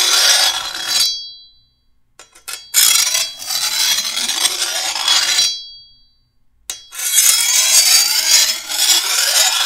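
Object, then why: Steel machete blade. A metal file is drawn by hand along the edge of a long, curved steel machete blade held over a table, sharpening it. Long, bright, hissing rasps scrape along the steel, separated by quiet pauses and a few short scratches. Faint high metallic ringing lingers after the strokes.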